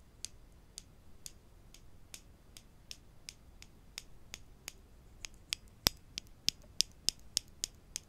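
Wooden clothespins are tapped in a steady series of short, sharp, bright clicks with no ring, over a faint background hiss. The taps come a little quicker and louder toward the end.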